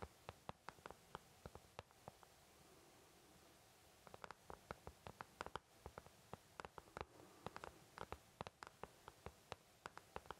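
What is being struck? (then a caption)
Plastic paint palette. Fingertips tap and lightly scratch the back of the wells of an empty white plastic paint palette. The result is a quiet, irregular run of dozens of short, dry clicks that stop at once, with a soft scratchy hiss between them and a brief pause partway through.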